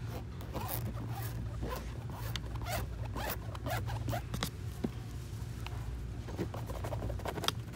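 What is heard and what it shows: Fingernails scratch quickly along the fabric upper and rubber sole edge of an empty, light grey canvas low-top sneaker with laces and a white rubber sole, resting on its orange shoebox. The result is a steady run of dry, zipper-like rasping strokes with a few sharper clicks, over a constant low rumble.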